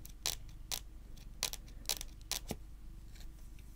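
Long nails tap slowly on a solid, dark wood-grain tabletop, making short, dry, bright clicks at an uneven pace. Each tap dies away almost instantly over a quiet, steady low background hum.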